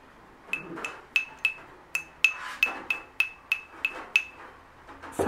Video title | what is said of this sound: 【第3回】FacebookのLIVEで、ヴィンテージ家具の販売を行いました。この動画の中で気になるお品物がある場合は、気兼ねなくお声かけください。審美眼で蒐集されたアイテムをご紹介いたします。 | 音が薩摩の方がちょっと重い感じの鉛が入った